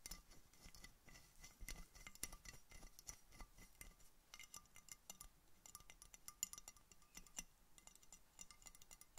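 An empty clear glass Coca-Cola bottle with a red label, held in a knit-mittened hand, is tapped rapidly with painted fingernails. The result is a quiet, continuous stream of quick, bright glassy clicks and clinks, each dying away almost at once.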